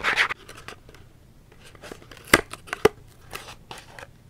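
A small Dove cardboard soap box, held in both hands, is scratched with long nails. A bright, papery scratching burst opens the clip, followed by softer, irregular scratches and two sharper, louder clicks partway through, each dying away almost instantly.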